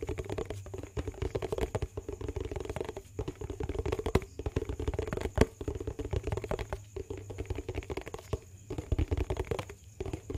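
Fingernails tap and scratch a medium-size yellow plastic dishwash-paste tub with a lid, making a steady, dense patter of quick, dry clicks and rasps. The sound is low-heavy with a hollow mid tone, each tap dying away almost at once. A few sharper, louder taps stand out near the middle.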